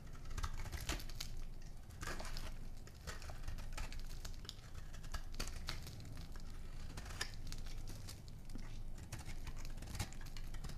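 A small metal blade scrapes and carves shavings off a palm-sized, solid oval bar of dry lime-green soap held in one hand. The result is a steady run of dense, crisp crackling and crunching, with many short bright scraping ticks over a low, muffled rumble.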